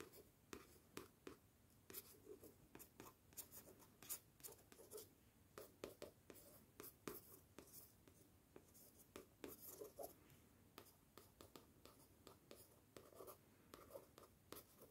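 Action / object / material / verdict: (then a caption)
scrape / paperback book cover, glossy card, scratched and tapped with a thin wooden stick / paper card / none. A thin wooden stick scratches and taps across the glossy card cover of a yellow paperback book, "A Certain Hunger," held upright in one hand. Repeated quiet strokes make a steady run of short, dry ticks and scrapes with bright edges. Each one fades almost at once.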